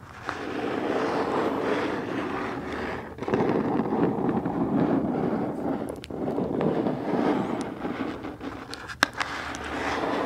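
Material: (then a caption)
Cardboard. Long acrylic nails tap and scratch the flat side of a closed, medium black cardboard subscription box held upright near the microphone. A steady, dense scratching rasp fills most of the clip, with brief pauses near 3 and 6 seconds and a sharper tap just after 9 seconds.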